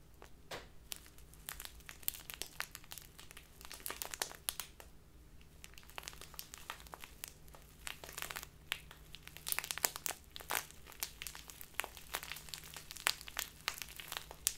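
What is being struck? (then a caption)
Small plastic bag of loose tea. A small crinkly plastic bag full of loose tea is squeezed and crinkled with fingertips and long nails. Dense, bright crackles and crisp snaps come in quick irregular bursts over a faint low steady hum.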